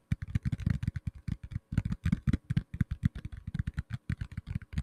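A black tablet in a plastic case is tapped rapidly with fingertips and nails for about five seconds. Roughly thirty short, dull taps land in an uneven rhythm, mostly low thumps that die away almost instantly, with faint clicks above.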